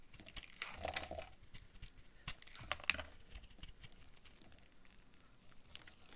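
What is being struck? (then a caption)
Bar of soap cut with a blade. A utility knife blade shaves and cuts curled slices off a hand-sized, solid purple oval bar of dry soap held in one hand. Soft, dry scraping and crisp, bright crunching cuts come in short bursts, with quiet gaps between strokes.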